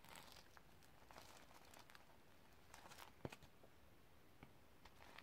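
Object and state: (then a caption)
Sequin-covered notebook. Long red-painted nails on ringed fingers scratch and brush the reversible iridescent sequin fabric cover of a flat hardcover notebook held in hand. The result is a quiet, steady crinkly rustle with bright, brief ticks and one sharper click near the middle.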